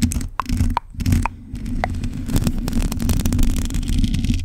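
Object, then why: Metal mesh microphone grille. Long pointed acrylic nails scratch across a black metal mesh microphone grille, making dense, continuous rough scraping and crackling. Low rumbling dominates, with short tonal pings and quick ticks scattered through it.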